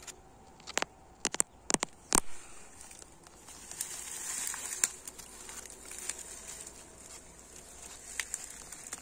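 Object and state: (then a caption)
Solid old brick wall. Fingertips and nails tap and scratch an old red brick wall with chipped white mortar, which sounds solid. Sharp, dry, short taps cluster in the first few seconds, then a soft bright scratching swell rises around the middle. Quieter scraping follows with a few scattered taps.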